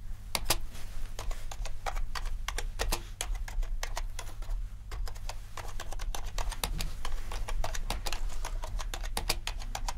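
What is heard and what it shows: Typing on a compact mechanical keyboard with black and white plastic keycaps. Fingertips type, then the index fingers tap single keys, producing a fast run of sharp, bright clicks over a steady low hum.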